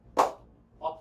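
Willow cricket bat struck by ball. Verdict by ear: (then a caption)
Good ping. A new ball is bounced on the face of a CA Plus 15K willow cricket bat. It gives three sharp, bright pings with a tonal ring centred around 600 Hz that fades quickly. The bat has a good ping, and the ball bounces so much that it is hard to control.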